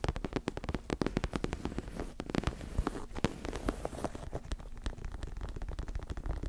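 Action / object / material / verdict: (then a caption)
scrape / fabric-covered neck pillow with soft filling / fabric / none. Long acrylic nails scratch the surface of a white and pink fabric-covered neck pillow with a soft filling, about forearm width, held close in front of a microphone. The result is a rapid, continuous stream of dry, crackly scratches and taps, with a deep, muffled body and soft fabric rustle filling the gaps between the sharp clicks.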